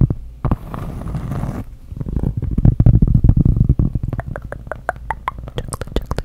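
Long acrylic nails scratch and tap across the porous surface of a round cork trivet with dark squares. Soft, low, rumbling scratches give way to a quick run of light, dry taps that tick brightly over a muffled low thud.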